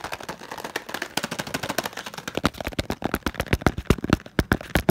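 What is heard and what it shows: Fingertips rapidly tap and rub the faces of a small, printed green and yellow cardboard packaging box that is hollow and light. A fast, uneven stream of short, dry, hollow taps with soft low thumps mixes with scratchy rubbing. The taps grow sharper and more distinct toward the end.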